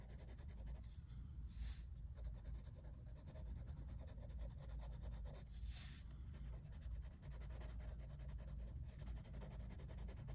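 A light-blue wooden colored pencil, held in the fingers, rubs and scratches across a large, flat, solid sheet of drawing paper in a sketchbook holding a half-colored anime drawing. Short shading strokes make a steady, soft scratching texture over a low rumble, with occasional brighter hiss bursts.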